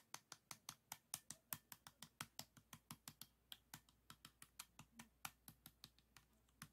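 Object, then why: Plastic 3x3 puzzle cube. Fingertips turn and flick the layers of a small, solid, stickerless plastic 3x3 Rubik's cube with a yellow face, producing rapid clicking. There are about 34 quick, dry, bright clicks with almost no ring, spaced fairly evenly over a quiet background.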